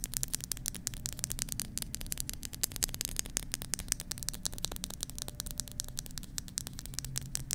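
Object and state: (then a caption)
Nail tapping on silicone microphone ears. Long manicured nails and fingertips tap and scratch continuously on both hollow silicone ears of a black 3Dio-style binaural microphone with a plastic body. A dense stream of sharp, bright clicks and scratchy rustling rides over a steady low, muffled rumble throughout.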